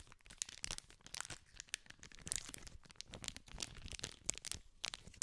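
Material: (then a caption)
Plastic film. A small green cardboard candy pack in clear cellophane wrapping is held in both hands while fingertips scratch and crinkle the film. The result is a quiet, dense stream of bright crackles and sharp crinkling snaps with very little low end, each snap dying away almost instantly.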